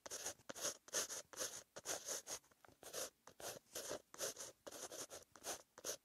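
A green-ink pen tip scratches across a white lined paper notebook page while writing, making a series of short, bright, hissy scratching strokes separated by brief silences. The sound is quiet and mostly high-pitched with almost no low end.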